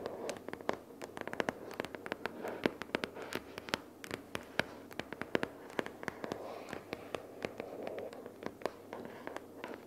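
Long purple fingernails rapidly tap a pink paperboard notebook case lying flat with paper inside. Quick, dry, sharp clicks with bright edges follow one another over a soft, papery rustling bed, each tap dying away instantly with no ring.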